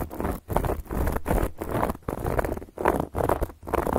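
Long gold metal claw nail caps scratch across a round, flat, solid cork board in short, dry, rasping strokes. The scratching is muffled and mostly low to mid in tone, with little brightness, and comes in repeated bursts separated by brief silences.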